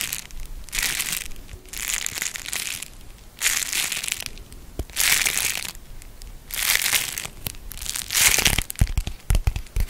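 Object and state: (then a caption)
Beeswax-coated cotton food wrap being crinkled. A thin, hand-sized, folded sheet of beeswax-coated cotton food wrap printed with an orange and red leaf pattern is crinkled and bent between the fingers. Waves of bright, papery crinkling and crackling rise and fall with short pauses between them. Sharper, snappier crackles come toward the end.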